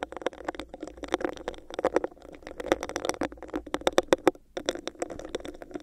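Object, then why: Clear textured plastic cup. Long nails scratch and rub the bumpy surface of a hollow, empty, clear textured plastic cup held over a microphone, producing a fast run of crisp clicks and scrapes. A hollow midrange resonance sits under the sharp, bright ticks, with a brief pause a little past four seconds before the scratching resumes.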